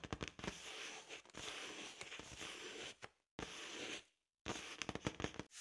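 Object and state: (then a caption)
Latex balloon. A large, hollow, inflated blue latex balloon is first touched by hand with sharp tapping sounds, then brushed and rubbed with a soft makeup brush. The brushing gives long, breathy, hissing strokes split by brief silences, and sharp taps return at the end.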